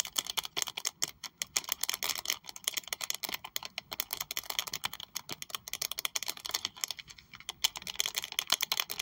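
Very long white acrylic nails tap and scratch the textured surface of a small pink saffiano leather Prada wallet with a metal triangle logo, held in the hands. The result is a dense run of fast, crisp, bright clicks and scratchy ticks with no low end.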